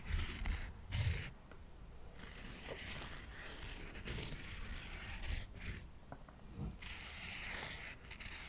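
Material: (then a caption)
Cork. A pair of cotton swabs is rubbed back and forth over the face of a solid stack of square cork coasters held close to the mic. It makes soft, dry scratchy swishes in uneven bursts, with bright hiss on each stroke and low thumps underneath.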